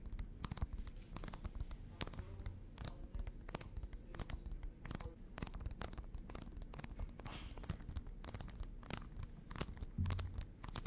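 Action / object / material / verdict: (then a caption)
tap / small plastic game case, shrink-wrapped / plastic / none. A small, hollow plastic Nintendo Switch game case with a printed cover, apparently still shrink-wrapped, is held in both hands and tapped and scratched with long fingernails. Rapid, dense, dry clicks and crinkly plastic scratches repeat throughout, each tap short with almost no ring, over a low, steady background.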